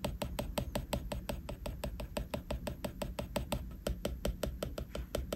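A plastic stylus tip taps and scratches rapidly across a flat glass iPad screen while detailing a drawing. About thirty short, bright clicks come at a quick, slightly uneven pace, each dying away almost at once over a steady low rumble.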